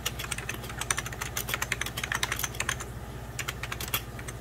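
Fingertips type on a beige plastic 1990s Packard Bell computer keyboard, including the lower rows and spacebar area. A rapid run of short, bright plastic clicks plays over a steady low hum, with a brief pause near the three-second mark before the typing resumes.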